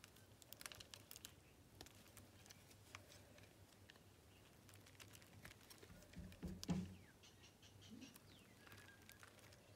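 A utility knife blade scrapes and slices across the scored surface of a solid blue bar of soap that has already been carved down. Quiet, crisp ticks and scratchy strokes come in an uneven patter over a steady low hum. A louder, grittier slice swells near the end before the scraping settles back to soft ticks.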